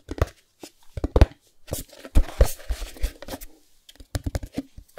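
A small, closed white cardboard Chromecast box is held in the hands while fingertips tap and scratch its printed faces. Quick, dull, low taps come in irregular clusters, broken by a longer stretch of dry, papery scratching in the middle.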